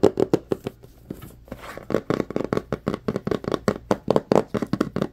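Fingertips tap and scratch the surface and edges of a small, hollow white cardboard phone box. Quick, dry, hollow taps with a low-mid knock come in a rapid, uneven series, broken briefly by a softer scratching rustle, and each tap dies away almost instantly.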